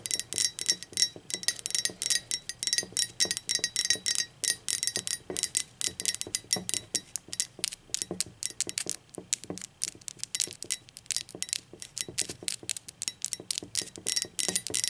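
Long acrylic nails tap rapidly on the wall of a hollow, speckled teal ceramic mug resting on a table. The taps are bright, dense clicks with a thin, high ring that dies away almost at once.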